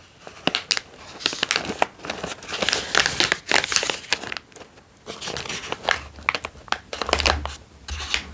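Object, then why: Foil-lined plastic snack bag. An opened, empty foil-lined plastic almond snack bag is squeezed and crinkled between fingers. The result is dense, bright, crackling crinkles in overlapping bursts with brief quieter gaps.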